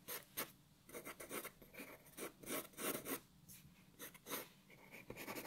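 A black wooden graphite pencil scratches sketch lines across a white A4 paper sheet lying flat on a wooden table. The result is a run of quiet, dry, bright scratching strokes with short pauses between them.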